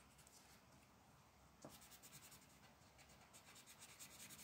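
A dark purple colored pencil scratches and shades a flat paper coloring page resting on a wooden table, held by a hand with long black nails. After a quiet, hissy first second and a half, a sharp touch-down starts steady, bright, rhythmic scratching strokes that carry on to the end.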